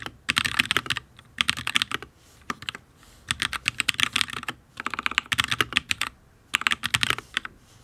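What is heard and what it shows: Fingertips of both hands type on a full-size HyperX Alloy Origins RGB mechanical keyboard with ABS keycaps on a solid steel plate, producing bursts of quick, bright clacks. The taps come in several clustered runs separated by short pauses, each click crisp with almost no ring.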